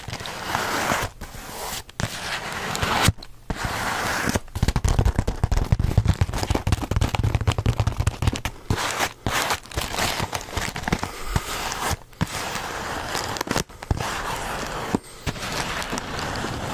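Fingertips tap and crinkle a full white Milano cookie bag made of coated paper with a folded top. Dense, crackly rustling and sharp little taps run almost continuously, with a few brief pauses, over a soft low rumble.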